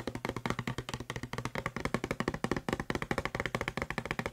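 Fingertips and nails tap fast on the body of a hollow blue plastic Febreze spray bottle held near the microphone. About 32 quick, dry taps follow each other in an uneven, rapid rhythm. Each tap has a hollow, mid-toned knock with bright nail clicks and dies away almost instantly.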